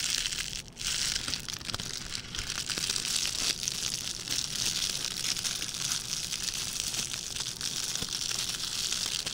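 A small red metallic plastic ribbon gift bow is pressed on a table by hand, then picked up and crinkled with fingertips. The result is a dense, steady stream of bright, sharp crinkling and crackling, mostly high-pitched with little low end and only a brief dip near the start.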